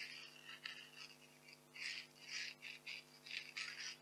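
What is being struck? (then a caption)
Expanded polystyrene packing peanuts. Small white expanded polystyrene packing peanuts rest on a velvet cloth while one is held and squeezed and rubbed between fingertips and long nails. The result is soft, high, bright squeaks and crackly rubbing bursts, with a faint steady low hum underneath.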